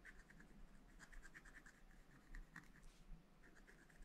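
A pointed wooden stylus scratches across a spiral-bound, wax-coated scratch-art pad with black coating over rainbow paper, lying flat on a table while one hand holds the pad and a brush sits untouched nearby. Quiet, dry scratching strokes come in short bursts with a thin, bright rasp over a low, steady hum.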